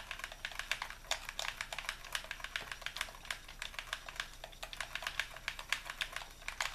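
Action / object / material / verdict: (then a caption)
tap / plastic game controller buttons / plastic / none. A hollow white plastic Xbox controller, held in both hands, has its buttons clicked rapidly by fingertips. About 44 quick, dry, bright clicks come in an uneven rapid stream over a faint hiss. Each click stops almost at once, with very little low end.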